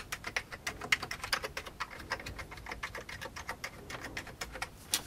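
One hand types with its fingertips on the keys of an old beige plastic computer keyboard, making a steady run of about 34 quick, dry clicks over five seconds. The clicks are bright, centred near 2 kHz, and each dies away almost at once with little low-end thump.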